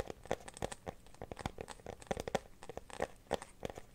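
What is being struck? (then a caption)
Clear plastic phone case. An empty, transparent teal glitter plastic phone case is held up and then placed on a blanket while fingernails scratch and tap it. Quiet, irregular, rapid clicks and crinkly scratches sound with a hollow mid-range plastic tone. Each tap is short and dry, with almost no ring.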